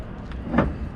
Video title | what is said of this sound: SPRINGTIME IN A SEMI - Good Weather for Trucking | no that sounds empty that sounds Hollow